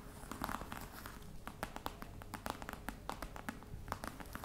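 Long red nails and fingertips tap across the top of a flat, hollow black box covered in embossed faux-crocodile leather. A quick, uneven run of light, dry taps with a hollow body around 1.2 kHz and bright clicky edges, each dying away almost at once over a soft low rumble.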